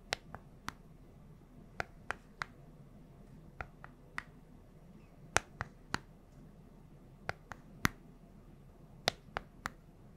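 Long nails tap the colored rubber buttons and hollow casing of a small, flat, handheld plastic LED remote held close to the mic. Sharp, dry clicks with a bright edge come in irregular, spaced-out bursts, each stopping almost instantly over a faint low background hiss.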